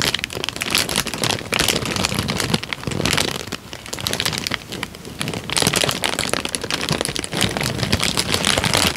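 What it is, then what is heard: Crinkled paper sheet. A rolled tan paper sheet is twisted and crinkled between the fingertips right at the mic, producing dense, bright crackling and rustling for the whole clip. The crinkling eases slightly in the middle before picking back up to a steady, busy texture.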